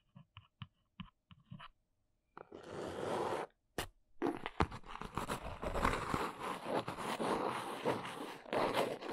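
Long nails tap on the printed top of a small brown cardboard box resting on a fluffy surface: six light, separate taps, then a steady papery scratch. After one more sharp tap, the nails trace across the top in a dense, continuous run of crunchy, scratchy strokes.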